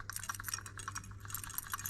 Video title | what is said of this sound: Solving my overboost problem on my 500bhp+ 1.8T swap MR2, and Thomas' OM605 5cyl swapped VW Crafter! | shaking it since something is rattling around in there